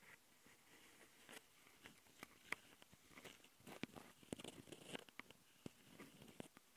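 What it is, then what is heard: Plastic audio recorder being scratched. Long nails on both hands scratch the mic capsules and top panel of a handheld plastic Tascam audio recorder. The result is close, quiet scraping and pattering over a soft hiss, broken by a series of sharp, dry clicks and taps that cut off instantly. The sound is mostly bright, with a scratchy tone around 2 kHz.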